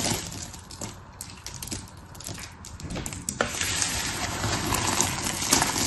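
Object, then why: Pile of soap shavings. Fingertips with long red nails crush, rub and spread a heap of small, solid, layered blue, pink and white soap chips across paper. It makes a bright, crisp crackling and scratchy crunching with scattered sharp ticks. The sound is quieter and sparser at first, then grows louder and denser in the second half.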